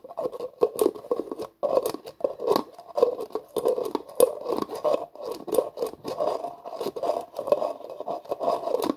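Fingers twist the black plastic screw lid on a hollow, translucent plastic jar held in both hands. Rapid bursts of dry, ratcheting scrapes come in quick runs, with short pauses between them. The scrapes are centered in the midrange with faint bright clicks on top.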